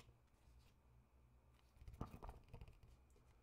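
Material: Paper.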